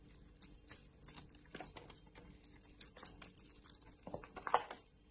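A solid oval bar of soap, purple outside and white inside, is held in a hand with long nails and shaved and cut with a utility knife blade. Quiet, crisp scraping and cutting sounds come as a rapid patter of short, dry ticks with a bright, crackly edge and almost no ring. A few louder cuts stand out near the end.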